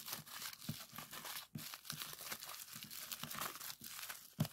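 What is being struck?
Plastic bubble wrap sheet.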